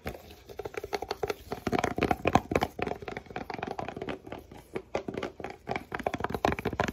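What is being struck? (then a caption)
Paperboard box tapped with gloved fingers. Gloved fingertips in blue nitrile gloves rapidly tap and scratch the surface of a hollow, flat rectangular white paperboard box (Billie razor packaging) held in both hands, possibly squeezing it lightly. Dozens of quick, dry, papery taps and scrapes come in fast, uneven bursts, centered in the midrange with almost no ring. Faint glove friction may add to the crinkly texture.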